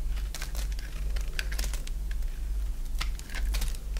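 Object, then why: Bar of soap shaved with a blade. A solid oval bar of dry white soap, held in the hand, is shaved with a box-cutter blade so that thick curls come off. The scrape-and-cut strokes make a quick run of crisp, bright scratching clicks over a steady low hum.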